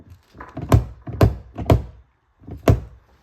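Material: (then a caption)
Steel. A sound-deadened rear car door on a CR-V or Civic, a steel panel lined with a deadening mat, is shut repeatedly. Four deep, low thunks land about half a second to a second apart, each dying away quickly with almost no ring. The treated door sounds very solid.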